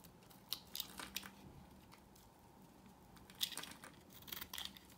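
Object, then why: Bar of soap cut with a knife. A solid, rectangular, pale yellow bar of dry soap held in the hand is carved with a knife blade into crunchy, crumbly shavings. Quiet, bright, dry crunching scrapes come in short bursts with brief lulls between them, over a faint low background hum.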